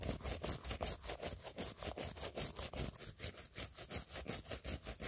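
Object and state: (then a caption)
Plastic phone case with acrylic nails, brushed. A blue plastic toothbrush is brushed back and forth along the edge of a clear plastic phone case and across the acrylic press-on nails glued to it. About 22 quick, bright, scratchy strokes repeat in a steady rhythm of roughly two to three per second, each with a crisp hiss and a faint low rub beneath.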